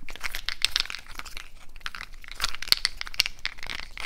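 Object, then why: Handful of natural cork wine stoppers. A handful of small solid natural cork wine stoppers held in both hands are squeezed and rubbed against each other with the fingers. This gives dense, creaky, crinkling friction sounds with bright, high squeaks and short crackling bursts. The sound is continuous, with very little ring after each crack.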